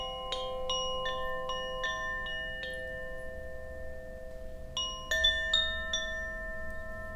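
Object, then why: Bamboo wind chime with wooden clapper. A bamboo Koshi wind chime, a hollow bamboo tube chime with a wooden clapper, is held up by its cord and swung. Its clapper strikes produce bright, bell-like tones around 3.5 kHz with steady lower partials that ring and overlap for over a second. After a brief lull, a few louder strikes come near the end.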